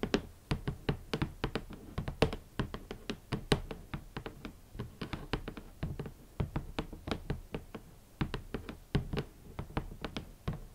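Long nails and fingertips tap on a large, hollow, rigid red cardboard shoe box lid in a steady run of quick, separate taps over about eleven seconds. Each tap gives a dull, hollow thump weighted toward the low end, with a bright click from the nails, and dies away almost at once.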